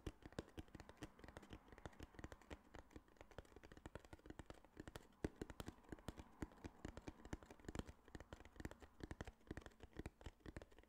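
A small, flat, hollow tan kraft cardboard box held in the hand is tapped and scratched with fingertips and nails. Quick, dry, irregular taps with almost no ring come in a dense stream for the whole clip, with soft scratching between them. The sound stays quiet and dull, weighted toward the low end.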